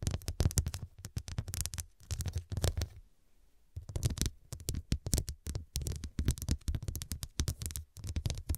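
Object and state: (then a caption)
Glass-studded cushion tapped and scratched with nails. A medium fabric cushion, soft and filled and covered in square faceted glass studs, is tapped and scratched by long dark pointed nails. Rapid bursts of clicking taps with a low, thudding body and bright ticks come in clusters, with a brief quiet pause near the middle.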